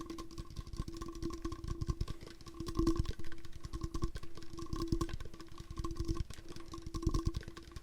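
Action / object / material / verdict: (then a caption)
tap / hard plastic water bottle / hard plastic / none. A hard plastic water bottle is tapped close up in a quick, continuous patter of short, dull knocks. The sound is mostly low, with a steady hollow tone running underneath.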